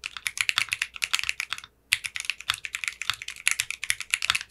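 A 60% mechanical keyboard with clear pink polycarbonate keycaps is typed on by fingertips with short manicured nails. The result is a steady run of quick, bright, clicky keystrokes centered around 2.6 kHz, with a brief pause just before the two-second mark.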